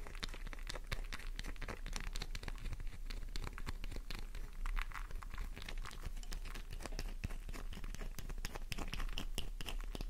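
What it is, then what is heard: Bar soap being scratched. A worn, solid, pink flower-shaped bar of soap, held in the palm, is scratched with long nails. The result is a dense, steady stream of fast crinkling, crackling scratches and short clicks over a low rumble, with no pauses across the clip.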